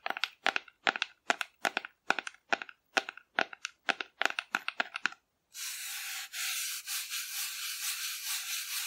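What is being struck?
Painted cardboard figure.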